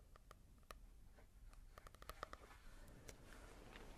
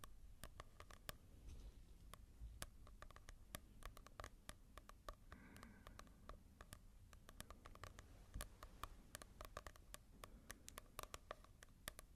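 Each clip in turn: First: matte-covered paperback book. Second: glossy-covered paperback book.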